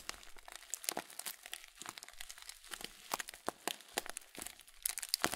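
A full blue Kölln plastic cereal bag of oat flakes is turned in the hands and squeezed and crinkled with the fingertips. The result is a quiet, steady stream of bright, dry crinkles and crackles, with sharp short snaps that die away instantly and little low-end weight.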